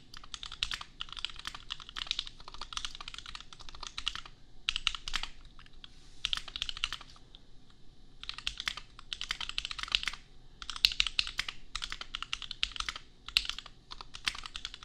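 Fingertips type on a $250 custom compact mechanical keyboard with Gateron Milky Yellow switches and red and pink plastic keycaps. Rapid, bright plastic clacks come in bursts separated by short pauses. Each keystroke is crisp and dies away almost instantly.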